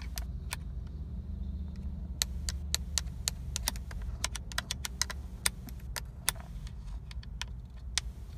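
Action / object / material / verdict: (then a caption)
tap / textured plastic steering wheel airbag cover / plastic / none. Long acrylic nails tap and scratch the fixed center hub of a Nissan steering wheel, a hard, hollow, pebble-textured black plastic airbag cover with a chrome logo. Many short, sharp, bright clicks ring out over a steady low rumble, along with faint scratchy rustling. Each tap dies away almost instantly.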